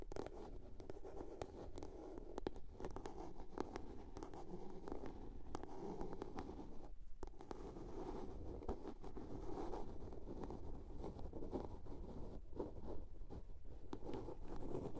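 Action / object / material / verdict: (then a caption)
scrape / small plastic soap box / plastic / none. Long nails tap and scratch the lid of a small, hollow blue plastic soap case. The result is a quiet, steady stream of dense, dull, hollow-sounding scratches and soft taps, weighted toward the low end with almost no bright content. Each touch dies away almost instantly.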